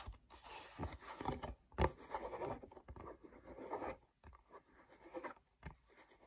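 Fingertips tap and rub with a sticky grip on the back panel of a small, hollow, glossy paperboard mochi box. Quiet, dry scratching and papery rubbing are broken by soft, hollow taps that die away almost instantly, centered in the low-mid range with little high content.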